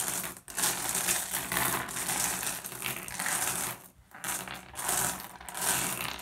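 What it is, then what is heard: Glass gem pebbles. Fingertips rake and shuffle a pile of small, solid, blue iridescent flat glass gems across a wooden surface. The result is a dense, continuous stream of bright clicking and clinking, with brief pauses near the start and around the four-second mark.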